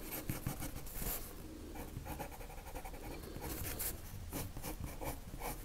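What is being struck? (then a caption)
Colored pencil on drawing paper. A lavender colored pencil shades a circle on a white paper sheet with repeated rubbing strokes. The sound is a quiet, steady scratchy rasp with brief bright bursts as the strokes go back and forth, over a low background rumble.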